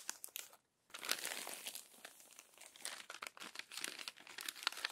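An open glossy paper magazine with crumpled pages is handled by long nails and fingers that unfold and smooth the crinkled pages. Dense, bright crinkling and crackling fills the clip, with a brief silent gap near the start before the rustling resumes.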